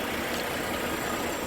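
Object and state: Nothing is struck.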